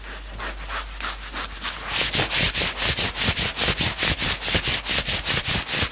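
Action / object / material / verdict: scrape / knit fabric sweatshirt / knit fabric / none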